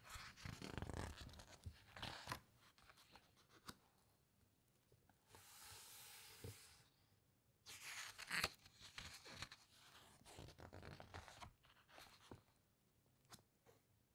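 A flat hand with long nails handles the glossy paper pages of a large hardcover book, turning a page and then pressing and rubbing across the glossy surface. Soft papery rustles and swishes alternate with sharp, bright crinkling and scraping bursts. A steadier hissing rub sits in the middle, and quiet pauses fall between the movements.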